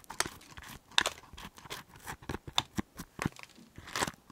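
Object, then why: Green chili pepper half and cotton swab. A cotton swab is dragged and scraped inside a hollow half of a green chili pepper held close to the mic. About nine short, crisp scratching strokes are heard, bright and crinkly like tearing paper, with almost no low end and no ring after each one.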